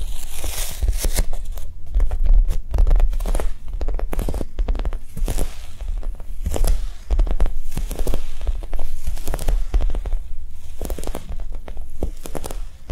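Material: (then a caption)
Foam. A Japanese cheesecake squishy, a soft foam toy, is tapped quickly and gently. The result is a steady stream of soft, muffled, low thuds with a faint crinkly texture and no sharp attack.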